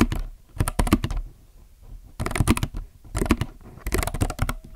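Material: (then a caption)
Plastic. Both hands type with their fingertips on a compact mechanical keyboard with plastic keycaps. Quick bursts of crisp, clacky keystrokes are separated by short quiet pauses, each press deep and full-bodied and dying away almost at once.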